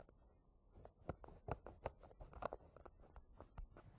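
Fingertips and nails scratch and tap the yellow plastic lid of a small, round, green plastic hair wax jar standing on cloth. Quiet scratching gives way to a quick, irregular run of dry, hollow taps with a mid-range knock. Each tap stops instantly with no ring, over a soft, low rustle.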